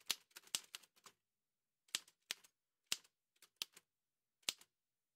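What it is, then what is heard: Manual metal typewriter. An old dark-grey metal manual Remington typewriter with paper loaded and a hollow body has its keys struck by fingertips in white satin gloves in steady typing taps. Sharp, bright clacks come in quick bursts separated by short pauses, each dying away almost instantly with very little low end.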